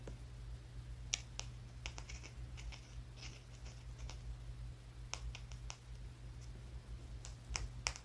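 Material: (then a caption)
Stone. A small, solid brown rock about the size of a walnut is held in the fingers of one hand and tapped with the fingertips and nails of the other. Each tap is a short, dry, bright click that stops almost at once, with an irregular rhythm over a steady low hum.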